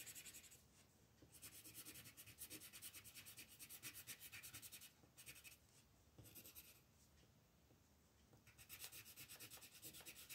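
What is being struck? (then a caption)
Colored pencil rubbed on a paper coloring book page. An orange colored pencil is rubbed in short, quick strokes near the edge of a moon on a flat paper coloring book page. The result is a soft, bright, scratchy rasp in rapid rhythmic bursts, with brief quieter pauses between runs of strokes.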